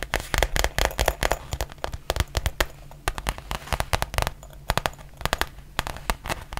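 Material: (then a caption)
Faux leather. Long nails tap and scratch the surface of a black textured faux leather zip pouch held in both hands. Rapid, sharp, dry clicks arrive in irregular flurries, with softer scratchy rustling between them over a faint steady low hum.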